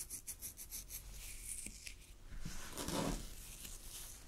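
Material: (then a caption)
Chiffon. Long glittery fingernails scratch and pluck a loosely draped, thin, sheer purple chiffon fabric. Six quick bright scratches come first, then a slower, smoother rubbing swell. A fuller, louder scrape peaks near the end and fades into a soft hiss.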